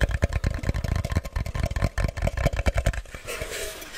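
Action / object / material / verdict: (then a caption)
tap / cardboard box / cardboard / none. A medium-sized, hollow, plain brown kraft cardboard box is held in the hands and tapped with fingertips and nails, giving a quick, uneven run of dull, low, hollow thuds. Near the end the tapping gives way to a brief papery scratching of nails across the cardboard.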